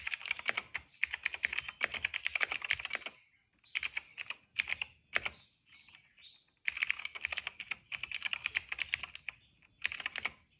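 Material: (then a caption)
Plastic. Fingertips of both hands type steadily on a retro-style cream plastic mechanical keyboard with dark and purple plastic keycaps and a hollow case, resting on a rug. Fast, bright, clacky key taps come in dense bursts separated by brief pauses, each tap dying away almost instantly with no low boom.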